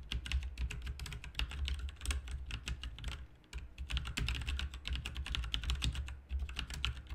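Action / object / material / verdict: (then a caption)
tap / plastic mechanical keyboard / plastic / none. Fingertips type continuously on a full-size, backlit plastic mechanical RGB keyboard with plastic keycaps resting on a desk. A rapid stream of sharp, bright clicky keystrokes plays over a steady low hum, with a brief quieter pause midway.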